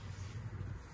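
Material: Nothing is struck.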